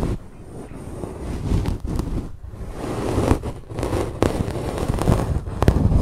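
A wooden bamboo fork, held upright with its tines in a fluffy grey faux fur microphone windscreen, combs and scratches through the fur. A dense, low rumbling rustle rises and falls, broken by several short brighter scrapes and crackles.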